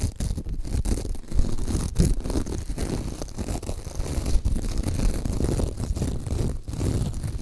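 Long acrylic nails scratch and rub the glitter surface of a soft, hand-sized, pink glitter-coated foam sponge. The result is a steady, dense, low-pitched rustling scrape with brief sharper scratches throughout.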